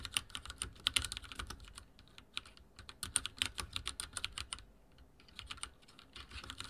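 Fingertips type steadily on a backlit mechanical keyboard with dark plastic keycaps and a silver frame, producing rapid, crisp, bright clicks with little low end. The keystrokes come in quick bursts with a brief pause near the five-second mark before typing resumes.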